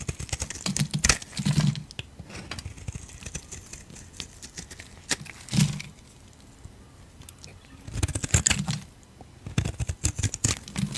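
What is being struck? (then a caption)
Soap bar shaved with a blade. A utility knife blade shaves thick curls off a solid yellow bar of soap held in the hand. The clip has dry, crackling scraping strokes in short bursts, with a soft low thump under each cut and bright crinkly edges. Quiet pauses fall between the passes.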